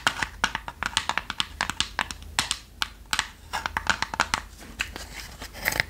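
Long nails tap rapidly on the lid and sides of a small, light, hollow plywood treasure-chest box with a brass clasp, held closed in the hand. The result is a quick, uneven patter of sharp, dry, clicky taps with bright, papery edges that die away almost instantly, over a faint low hum.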